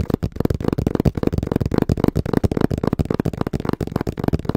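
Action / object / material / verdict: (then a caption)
tap / cardboard box / cardboard / none. Fingertips tap rapidly on the flat face of a small, hollow brown cardboard box held in both hands. The result is a steady stream of short, dull, hollow thuds with a low, boomy body and almost no ring.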